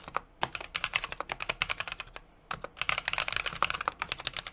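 Fingertips type continuously on a small 60% mechanical keyboard with an aluminum case, brass plate and plastic keycaps. Quick, bright, dry clacks come in rapid runs with a brief pause near the middle, each keystroke ending almost instantly.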